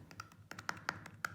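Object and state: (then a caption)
Rotten oak beam. A spot on an oak beam is tapped, giving a quick series of light, dry taps with a brief ringing tone around 1.4 kHz. The beam sounds not solid there, indicating rotten wood.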